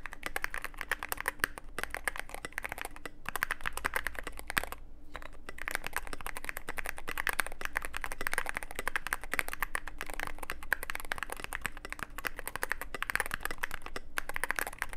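Fingertips of both hands type continuously on a Cyberboard mechanical keyboard with plastic keycaps and a dark case. The result is a steady stream of quick, dry clicks and clacks centered in the upper mids, with a brief pause near the five-second mark.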